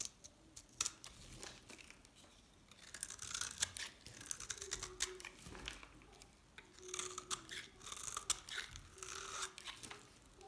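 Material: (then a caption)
Soap. A small knife scrapes and cuts flakes off a hand-held, solid, dried green soap bar. Bright, dry, crunchy scraping comes in irregular bursts with short crisp crackles and quiet gaps between strokes.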